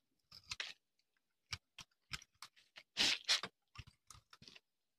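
A hand-sized solid tan-orange bar of dry soap, held in the hand, is shaved with a metal knife blade, and long crumbly shavings pile up on a concrete surface. About fifteen crisp, bright, dry crunching scrapes come in an irregular, quick series, each one short with almost no ring.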